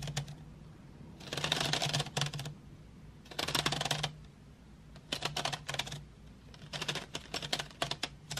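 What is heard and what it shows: Long nails tap rapidly on painted wooden graphite pencils lying in an open metal tin tray. The bright, dry clicking comes in four quick bursts separated by short pauses, over a faint steady low hum.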